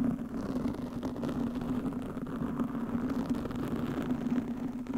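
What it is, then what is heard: Foam microphone windscreen being scratched. Long nails on both hands scratch a soft, porous black foam windscreen over a microphone. The result is a steady, dense, muffled rustling and scraping with a constant low tonal hum around 230 Hz and almost no bright content.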